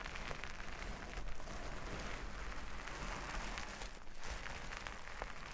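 Fingertips and long nails rub and scratch across a large flat sheet of reversible plastic sequin fabric. The result is a steady, dense rustling hiss with crackly, slightly crunchy texture and a low rumble underneath, holding at a fairly even level throughout.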